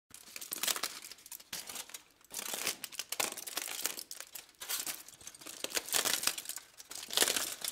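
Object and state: Aluminum foil sheet.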